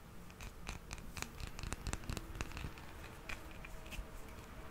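A small, solid hard plastic toy hippo figurine, held in the palm, is scratched with fingernails along its back and sides. Quiet, irregular dry scratches and short bright ticks come in a quick uneven cluster over a low soft rumble, with no ring after each stroke.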